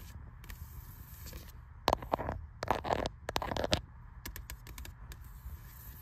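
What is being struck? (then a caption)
Spiral-bound paperback book with card cover. A fingertip and long red-painted nails tap and scratch the glossy printed card cover of a closed, medium-sized spiral-bound paperback, "The Wadsworth Guide to Research," with white plastic coil binding, lying flat on a grey metal shelf. Soft, quiet taps give way to a cluster of sharper, crackly scratches and scrapes in the middle, then lighter taps again over a faint low background rumble.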